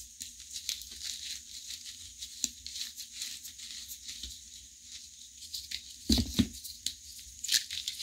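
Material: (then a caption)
Chalk. Fingers with long painted nails pinch and crush small solid chunks of new and reformed gym chalk block (magnesium carbonate) over a bed of white chalk powder. The result is a steady run of bright, dry crumbling and crackling, with a few louder, fuller crunches breaking through toward the end.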